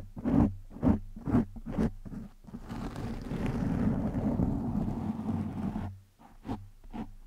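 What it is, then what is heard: Foam microphone windscreen being scratched. A hand scratches and rubs a black foam windscreen over a microphone with its fingertips and short nails. Four separate muffled, boomy scratches are followed by a few seconds of continuous, rumbling rubbing, then two more short scratches. The sound stays low and dull, with almost no bright edge.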